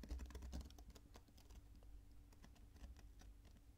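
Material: Sand.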